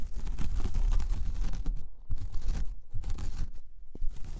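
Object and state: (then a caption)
Woven jute coaster being scratched. Long painted fingernails scratch across a large, flat, solid round coaster of braided jute or straw, up close. The sound is a dense, crackly, rustling scrape with a heavy low rumble, broken by brief quieter pauses before it resumes.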